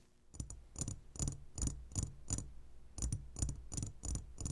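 Fingertips and short nails of both hands tap the sides of a roughly hand-sized clear glass jar full of sugar-coated gummy candies. A steady run of quick taps sounds as dull low thuds, each topped by a bright glassy click. Each tap dies away almost at once.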